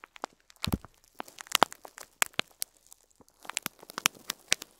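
A fingertip presses and crinkles the top of a clear plastic bag of loose cream plastic faux pearl beads standing upright on cloth. The result is a quiet series of sharp, bright crinkles and crackles in irregular clusters, with a few soft low thumps as the bag is pressed.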